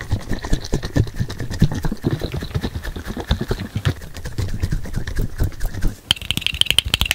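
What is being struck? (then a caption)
Small glass bottle with plastic screw cap. Fingertips and nails tap and scratch the white and dark plastic screw cap and the body of a small glass bottle holding greenish-yellow contents, held close to the mic. Rapid, dry, closely packed taps with a dull low thump sit under a scratchy, brushing texture. Near the end, the taps turn brighter, with a faint high glassy ring around 3 kHz.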